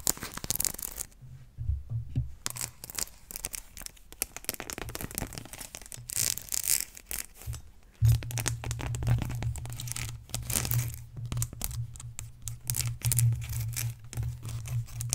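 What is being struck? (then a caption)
Leather belt. A long brown leather belt with decorative stitching is held stretched between both hands and scratched and tapped along its surface with long nails. Dense, dry scratching and crinkly, tearing-like rasps come in quick bursts over a low steady hum that grows stronger from about the eighth second on.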